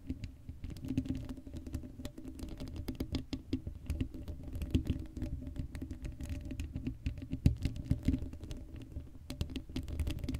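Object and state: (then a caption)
Metal mesh microphone grille. Long acrylic nails scratch across the hollow black steel mesh grille of an uncovered Blue Yeti microphone. A dense, continuous patter of quick scratches and clicks comes through with a heavy low-end rumble and a faint steady tonal hum. Occasional sharper taps stand out.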